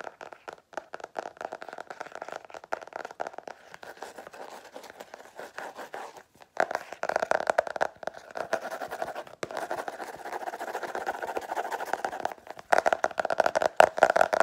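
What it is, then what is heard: Hardcover notebook cover scratched. Long nails scratch quickly across the flat cover of a black-and-white geometric-patterned cardboard hardcover notebook. The result is a rapid run of dry, crackly scratches centered in the midrange with no low end, growing louder after about 6.5 seconds and again near the end.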